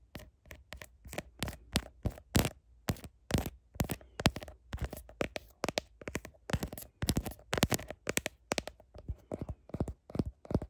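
Long nails tap and scratch a smartphone's blue plastic heart-shaped case and its camera lenses. A quick, uneven series of sharp, clicky taps is heard, each dying away almost instantly, mixed with short scratchy scrapes. The taps carry a soft low thump beneath bright edges.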